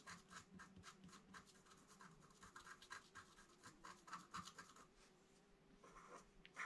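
A long wooden stylus scratches fine lines on the right side of a flat black-coated scratch art card while both hands rest on the card. Quiet, repeated short scratching strokes come through with a bright, papery rasp, a few louder ones standing out, over a faint steady hum.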